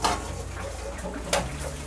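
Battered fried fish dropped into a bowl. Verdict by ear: Crisp.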